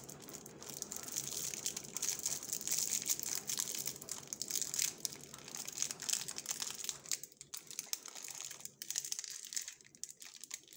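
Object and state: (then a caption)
Foil candy wrapper crinkled. Gloved fingertips twist and crinkle the ends of the shiny blue and gold foil-like wrapper on a small Dabli candy with solid candy inside. The result is a dense, continuous run of bright, crackling crinkles with almost no low end, easing into briefer, sparser rustles in the last few seconds.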